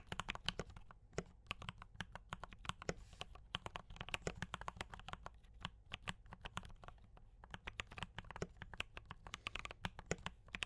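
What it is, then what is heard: Mechanical keyboard with plastic keycaps. Fingertips of both hands type on a D84 mechanical keyboard with brown switches and cream and red plastic keycaps. A steady stream of short, dry keystrokes, each a bright clack over a low thud, falls into a quick, even typing rhythm with almost no ring between presses.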